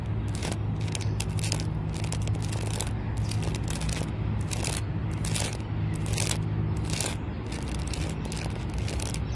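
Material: Bark.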